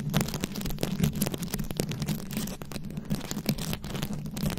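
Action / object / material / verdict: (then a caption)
scrape / microphone head covered in glued rhinestones, scratched and tapped with long acrylic nails / rhinestones / none. Long acrylic nails scratch and tap across a fist-sized microphone head fully covered in small glued-on rhinestones and beads. The result is a dense, continuous stream of crackly clicks and scrapes over a steady low hum, with short sharp taps poking out.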